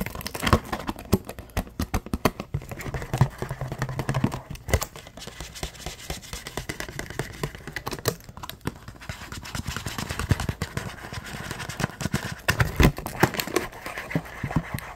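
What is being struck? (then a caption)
Clear rigid plastic blister pack. Fingertips scratch and tap the hollow shell of a yellow-tinted clear rigid plastic blister pack. The result is a dense, fast stream of dry, short scratches and crackling taps with a low thump under them and a few louder clicks throughout.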